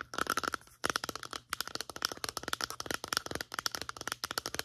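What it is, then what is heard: Plastic lotion pump bottle. Long nails tap quickly along the sides of a medium-sized white plastic lotion bottle with a pump. About 25 sharp, bright clicks come in quick bursts separated by brief pauses, each with a short hollow plastic tone near 1.4 kHz that dies away almost at once.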